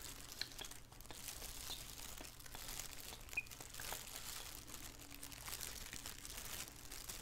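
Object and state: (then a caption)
Plastic shower cap crinkling. A thin black plastic shower cap, hollow and empty, is held in both hands and squeezed and crinkled with the fingers. Soft, continuous bright crinkling and crackling rustles over a steady low hum, with a few sharper snaps standing out.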